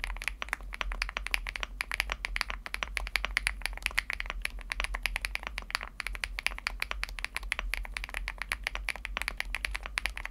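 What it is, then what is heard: Aluminum mechanical keyboard with plastic keycaps. Fingertips type steadily on a Chilkey ND75 mechanical keyboard, a 75% board with a teal aluminum case and plastic keycaps. A rapid, continuous stream of short, dry clacks with a bright upper-mid tone sounds over a faint low hum.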